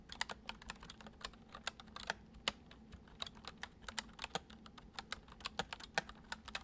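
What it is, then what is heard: Plastic computer keyboard being typed on. Fingertips of both hands type quickly on a full-size white plastic computer keyboard with hollow keys resting on a wooden desk. Soft, bright, clicky taps come in a fast, uneven stream, each dying away almost instantly over a faint, steady low hum.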